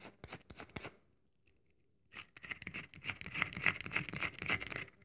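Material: Soap.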